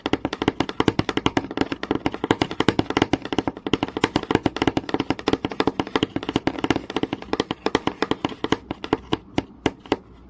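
Long nail tips tap rapidly on a flat, solid wooden board with visible grain, making a dense stream of short, dry clicks with a woody mid-range body and a little high, bright edge. Each tap dies away almost instantly, and the taps run in quick irregular bursts before thinning out toward the end.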